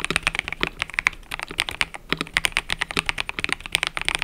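Fingertips type continuously on a mechanical keyboard with cream and purple plastic keycaps. A rapid, uneven stream of crisp, bright clicks and clacks comes through, each keystroke dying away almost instantly with very little low-end thump.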